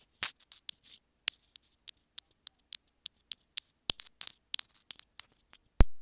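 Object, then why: Small plastic earphone inline remote. Long nails tap and scratch the housing of a small, hollow white plastic inline remote on a pair of earphones. About twenty quiet, dry, bright clicks and brief scratches sound in an uneven rhythm, each dying away almost instantly. The clip ends with a sharper, louder knock.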